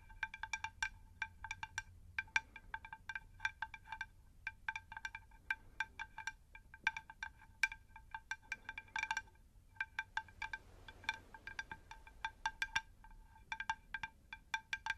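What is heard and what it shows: A round, shallow, plate-sized terracotta pot saucer is tapped with long nails in quick, irregular bursts. Each tap gives a bright, glassy click with a ringing tone near 1.5 kHz that dies away almost at once. The result is a quiet, chime-like clatter that pauses briefly now and then.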